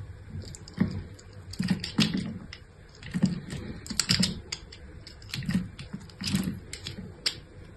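A solid pink bar of soap, scored in a grid pattern and held in hand, is sliced and scraped into flakes with a metal utility-knife blade. The blade's edge cuts and scratches the soap in a series of short, crisp scraping and crunching strokes. The strokes have a low thud beneath bright, scratchy high edges.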